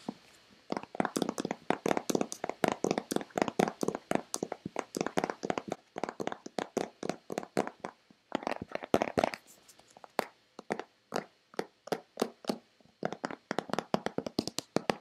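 Long painted fingernails tap a hollow, hand-sized white Nivea plastic lotion bottle in quick, uneven bursts of dozens of taps over 15 seconds. Each tap is a dry, hollow plastic click with a mid-pitched body and a bright edge, fading almost at once. Short pauses break up the tapping near the middle.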